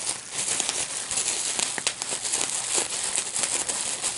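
A clear plastic bubble wrap sheet with small air-filled bubbles is held up in both hands while the fingertips pinch and pop the bubbles. A steady, bright crinkling runs throughout, broken by sharp, short pops that fade quickly, with almost no low end.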